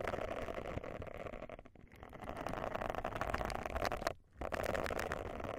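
A round silicone bristle face scrubber pad resting on a microphone is scratched and rubbed with long nails, producing a dense, continuous crackling scratch with a strong midrange band. The rubbing briefly fades near 1.8 seconds and again just after 4 seconds before resuming.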